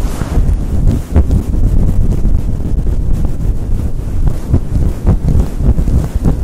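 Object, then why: Faux fur microphone windscreen. A fluffy faux fur windscreen on a Blue Yeti microphone is rubbed and scratched fast with fingers and long nails. The result is a loud, continuous, wind-like low rumble and buffeting, almost all of it deep bass, broken by quick scratchy bursts that flick up into brighter hiss.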